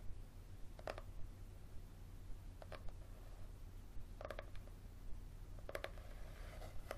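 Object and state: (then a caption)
Paperback book with leather-textured cover. Fingertips and short nails tap and scratch the front cover of a thick yellow paperback book with a leathery-textured cover, held at an angle above a wooden table. Soft, brief bursts of tapping and scratching come in scattered clusters, with a faint, bright edge. A quiet, steady low hum runs underneath.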